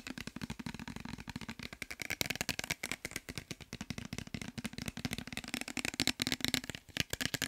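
Fingernails tap rapidly on a clear glass bottle with a white cap and some liquid inside, held in the hands, while the bottle is also shaken. The result is a fast, continuous stream of sharp, bright clicks with almost no ring, over a faint low tone.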